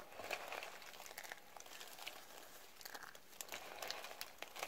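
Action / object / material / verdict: scrape / pile of soap shavings / soap / none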